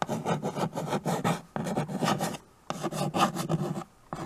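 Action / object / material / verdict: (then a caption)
scrape / chalk on a small wood-framed chalkboard / chalk / none. White chalk scratches across a small, flat chalkboard in a wooden frame, held by a hand with teal nails, while names are written. The result is a series of short, dry, rasping strokes with a bright edge, grouped into bursts separated by brief quiet pauses.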